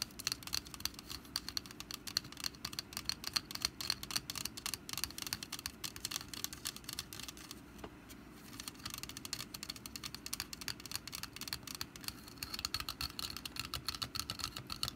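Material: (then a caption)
Wicker. Long black nails tap and scratch the woven surface of a small, hollow, orange wicker pumpkin basket with a lid and stem, resting on a mat. The result is a quiet, steady stream of rapid, bright, dry clicks and scratchy rustles with almost no low end. The stream briefly thins out around the eight-second mark before resuming.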